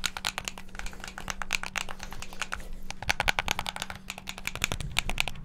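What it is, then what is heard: Plastic game controller buttons. Fingertips rapidly press the face buttons and sticks of a hand-sized, hollow black plastic Xbox controller. A fast, dense stream of short, dry plastic clicks and clacks rings bright around 1.5 kHz and stops almost instantly, over a faint steady low hum. The clicking grows busier and louder in the second half.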